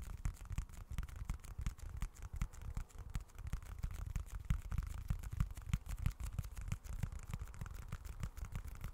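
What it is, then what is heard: Leather wallet. A small, dark, folded leather-look wallet is held close to the mic and scratched and tapped with fingertips. The result is a quiet, irregular stream of quick, soft, dull low thumps and brushing scratches, with almost no ring after each touch.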